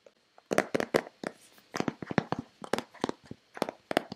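Long painted fingernails tap and scratch a hand-sized, hollow white Nivea plastic lotion bottle. About fifteen quick, dry clicking taps come in uneven bursts, mixed with brief scratchy rasps. Each tap has a hollow plastic tone around 470 Hz and dies away almost at once.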